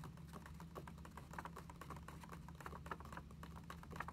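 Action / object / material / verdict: tap / paper notebook pages tapped with nails / paper / none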